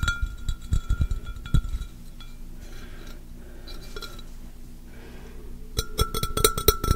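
An empty, hollow, clear pressed-glass pitcher is tapped with the fingertips and nails, then raised above the microphone. Quick bursts of bright glassy clinks and low thumps, each with a short ringing tone, are separated by a quieter stretch of soft rustling. The taps return in a dense flurry at the end.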